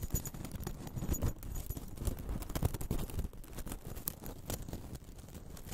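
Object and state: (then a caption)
Rattan ball cat toy. A small, hollow, green-painted woven rattan ball cat toy is held in both hands close to the microphone and squeezed and scratched with long acrylic nails and fingertips. The result is a steady stream of dense, crinkly, crunchy crackles that stays mostly low and soft.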